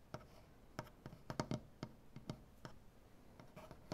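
Fingernails tap and click with both hands on a solid light wood butcher block tabletop. Around fourteen short, dry clicks land at an uneven pace, with a low woody knock under a brief bright tick and almost no ring, over a faint steady hiss.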